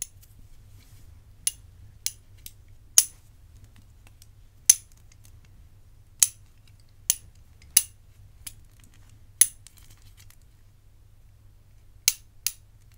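A gold-tone metal bangle with black enamel panels, held in the fingers, is tapped and scratched with the long nails of the other hand. About eleven sharp, bright metallic clicks with very short ring are spaced irregularly over a quiet low hum.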